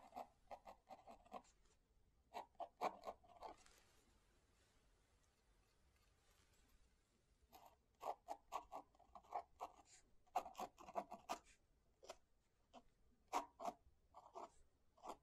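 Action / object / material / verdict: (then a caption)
scrape / paper book page under a fountain pen / paper / none. A fountain pen held in the right hand scratches across the paper page of an open hardcover book lying on a desk, with the left hand resting on the book. Dozens of short, dry, scratchy strokes come in quick clusters, with a quieter, steady papery hiss in the middle before the writing picks up again.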